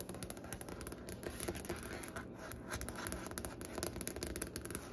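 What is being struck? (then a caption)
Wooden butcher-block desk top. Long painted nails and fingertips tap and scratch across a large, solid wooden butcher-block desk top with a light striped grain. Quick, dense taps mix with dry, rasping scratches, each with a short, soft knock and almost no ring. The result is a steady, quiet stream of crisp clicks and scraping.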